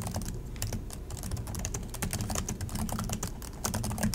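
Both hands type continuously with their fingertips on the plastic chiclet keys of an Acer laptop keyboard. The result is a dense, rapid stream of short tapping clicks, each with a dull, low-weighted thud, brief bright ticks on top and very little ring. The pace stays steady and even throughout.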